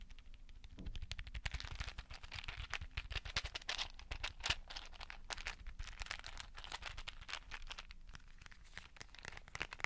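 A small clear plastic case full of colorful beads is held above a microphone, tapped and scratched with fingertips and nails, and shaken. A steady stream of crisp, bright clicks, scratches and bead rattles runs throughout, over soft low thumps from the handling.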